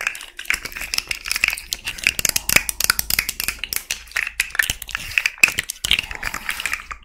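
A small rainbow fidget slug made of hollow, jointed plastic segments, held in both hands, is tapped and scratched with long red nails while its segments are bent so they rattle. The result is a dense, continuous run of sharp, dry plastic clicks and scratchy crinkling, bright and centred around 2.6 kHz with almost no low end. Each click stops instantly.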